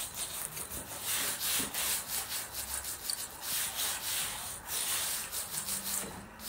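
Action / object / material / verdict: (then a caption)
scrape / suede boot upper scrubbed with a bristle brush / suede / none. A small wooden-handled bristle brush scrubs the lower side of a black suede Nike high-top boot with a glossy patent toe, near the sole, while the boot is worn on a foot. It makes a steady run of bright, hissy, scratchy strokes, about three per second, in an uneven rhythm with no low-end body.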